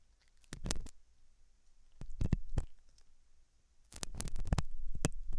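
A hooked metal dental tool scratches inside the ear canal of a white translucent silicone ear model made of soft solid rubber, likely mounted on a binaural ear microphone. Three bursts of close, muffled scraping and clicking are heard, heavy and low with brief bright crackles, separated by near-silence.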